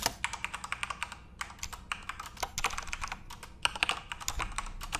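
Both hands type rapidly with their fingertips on a full-size Corsair RGB-backlit mechanical keyboard with plastic keycaps. A steady stream of quick, bright plastic clicks and clacks overlaps, each keystroke dying away almost instantly, with a brief lull in the typing partway through.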